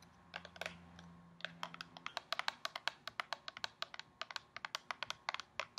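A tall, hollow, gold foil-coated cardboard skincare box is held in both hands and tapped with long painted nails. About 35 quick, dry, bright clicks come in an uneven typing-like rhythm with almost no ring. A faint low hum sits underneath for the first two seconds.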